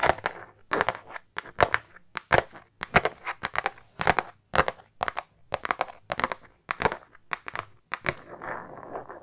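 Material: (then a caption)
Faux leather. A silver star-print metallic faux-leather makeup pouch, soft and hollow, is held while long nails scratch and tap across it. Short, dry bursts of crinkly, crackling scratches come in quick clusters, bright with little low end. The clip ends in a softer, steadier rustle.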